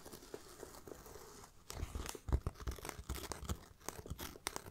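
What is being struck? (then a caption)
Faux leather backpack. Fingertips and nails tap and scratch the grained surface of a small black pebbled faux leather backpack with a striped band and a bee brooch. A soft, steady scratching at first gives way after about a second and a half to sharper, dry taps and crinkly scrapes with thuddy low end, each dying out almost instantly.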